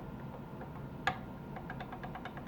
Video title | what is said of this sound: Consider Buying This Tool Before Buying Another Guitar. | It's rocking on the fret in the center, showing that that's higher than the frets either side.